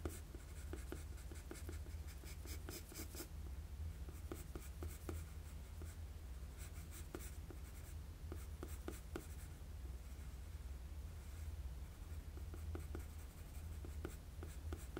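A wooden graphite pencil makes short sketching strokes on a flat sheet of drawing paper. Quick, bright, scratchy strokes come in irregular bursts over a steady low hum that runs through the whole clip.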